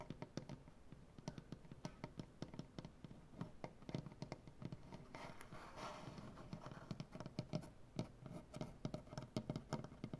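Fingernails tap quickly with both hands on a solid light wood butcher block tabletop, making dozens of short, dry, low-pitched knocks with a bright click on top. Partway through, a brief stretch of rougher, hissing scratching on the wood blends in before the fast tapping continues.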